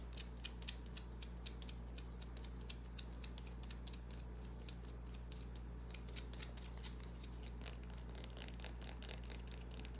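Long nails scratch and tap a small solid white bar of soap held in the palm, making a steady run of quick, dry, bright clicks and scrapes. The sound stays quiet over a constant low hum.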